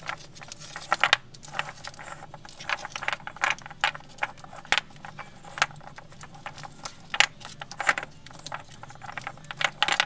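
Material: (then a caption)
Wood. Small solid wooden toy alphabet blocks with printed letters, piled loosely in a woven basket, are tapped, scratched and rattled against each other with long nails and fingertips. The result is a stream of dry, bright, irregular clacks and clicks with no ring. Soft scratchy rustling fills the gaps between them.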